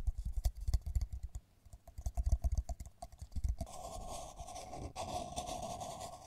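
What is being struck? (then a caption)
Ceramic mug tapped and scratched with fingernails. Long nails tap quickly on the outside wall of a hollow pink matte ceramic mug with lettering, held in the hands, making a fast run of short, dull, low clicks. After about three and a half seconds, the nails switch to scratching the mug's wall, giving a steady, grainy rasp with a mid-range hiss until the end.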